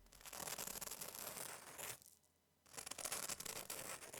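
The crust of a freshly baked French baguette is handled, producing dense, bright crackling and crunching from about 0 to 2 seconds. After a brief quiet pause, it crackles again from about 2.7 seconds to the end. The crackle shows the crust came out crispy and the bread is baked through.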